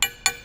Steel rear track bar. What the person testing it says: you can just hear the quality difference